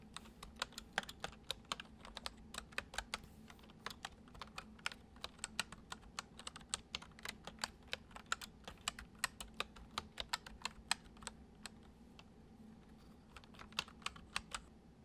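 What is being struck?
Plastic computer keyboard.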